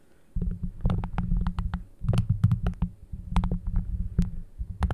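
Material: Plastic.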